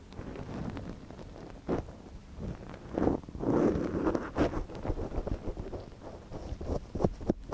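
A wooden ear pick scratches inside a soft silicone ear model mounted on a binaural microphone, while a gloved hand holds the ear steady. The result is close, muffled rustling and scraping in uneven bursts, mostly low and midrange, with a few sharper crackles toward the end.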